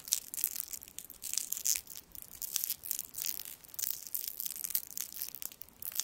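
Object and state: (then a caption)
Foil candy wrapper being crinkled. A small gold foil sweet wrapper with twisted ends is held in the fingertips over the microphone and twisted and crinkled. Dense, bright crackling and crinkling comes in quick bursts with short pauses, nearly all in the high range and with no low end.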